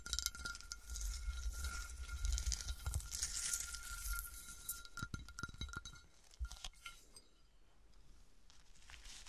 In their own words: 21:06 - 27:01 - Melted glass bottle, tapping with some bassy scratches